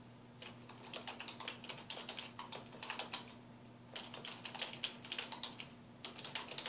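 Fingertips type continuously on a full-size black plastic computer keyboard with a hollow housing, resting on a wooden desk. Quick, bright clicks come in three bursts separated by short pauses, each click dying away almost at once. A faint steady low hum sits underneath throughout.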